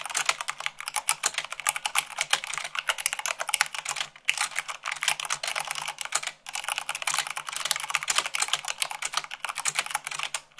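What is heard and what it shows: Fast typing with fingertips and long nails on white plastic keycaps of a black mechanical plastic keyboard. It makes a dense, steady stream of bright, sharp clicks and clacks with almost no low end. The clicks pause briefly near 4 and 6 seconds.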